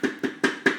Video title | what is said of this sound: Why you shouldn't eat raw maca | it's sort of spongy, it absorbs